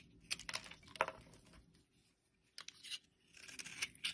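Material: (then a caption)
Soap. A blade scrapes across a solid light-blue bar of soap held in a hand, cutting off brittle chunks. Bright, dry crackling and crisp scraping bursts come in quick clusters, fall quiet for a moment, then resume.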